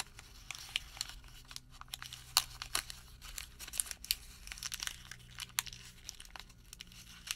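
A folded white thermal paper receipt is squeezed and crinkled into a small bundle with fingertips. It makes quiet, bright crackling and crinkling with frequent sharp, dry snaps that die away instantly, over a faint steady low hum.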